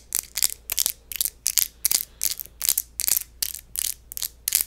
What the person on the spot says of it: 04:09 Empty wine bottle